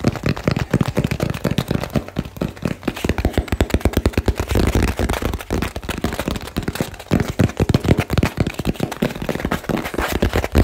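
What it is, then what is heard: Cardboard box. A small cardboard box with a barcode label and blue tape, held in both hands, is tapped very fast and aggressively with fingertips and nails. The result is a dense, continuous stream of dry, hollow, low thuds with sharp clicky edges, each dying away almost instantly, over the whole clip.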